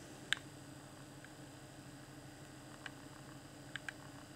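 A fingertip taps and clicks the D-pad and buttons of a hand-sized, hollow, transparent plastic Xbox One Afterglow game controller lit with a blue LED. Four short, sharp plastic clicks stand out, one early and three later, the last two close together, each dying away almost instantly with a bright edge over a quiet, steady background hiss.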